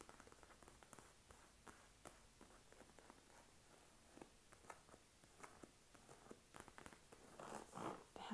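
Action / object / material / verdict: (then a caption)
tap / padded leather armchair armrest / leather / none. Long acrylic nails and fingertips tap and scratch across the padded dark green leather armrest of a soft, upholstered armchair. Quiet, dry, irregular taps come rapidly with very little ring, mixed with soft scratching. A louder, brief scratching burst comes near the end.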